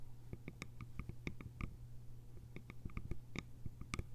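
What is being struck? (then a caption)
Small bamboo container with lid. Long nails tap and scratch the sides of a small, hollow, cylindrical bamboo container with a lid. They make a quick, uneven run of short, dry clicks with a faint hollow ring in the mid range and bright tips. The clicks sit over a steady low hum.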